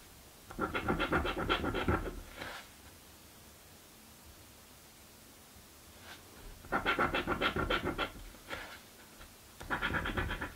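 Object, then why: Cardboard scratch-off ticket scraped with a coin edge. A coin's edge scratches a thin, flat cardboard crossword scratch-off lottery ticket lying on a dark wooden table, held down by fingertips. Three bursts of rapid, rhythmic rasping scrapes, bright and gritty with a soft low thump underneath, are separated by quiet pauses with a few faint single scrapes in between.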